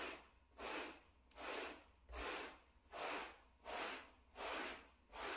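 A wooden-backed bristle brush in a gloved hand is brushed across the pile of a small, solid, flat grey plush shag carpet mat. It makes a soft, broadband scratchy swish, bright in the high range, with each stroke swelling and fading. The strokes repeat at a steady pace of about 80 per minute.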